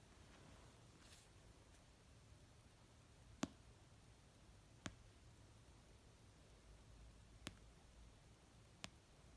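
An orange paperback novel of solid paper resting on a blanket is tapped slowly with painted nails and fingertips. Four short, crisp taps ring out at uneven intervals over a very quiet, low hiss, each one a brief bright click that dies away almost instantly.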